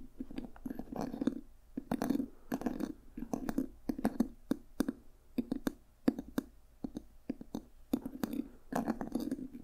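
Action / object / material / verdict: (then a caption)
tap / leather-covered journal with a brass clasp / leather / none. Fingertips and nails tap rapidly on a small, solid, dark red leather journal and on the brass owl ornament on its cover. Soft, muffled thuds with a warm low-mid body mix with sharp, bright clicks. Each tap dies away almost instantly, in quick clustered bursts.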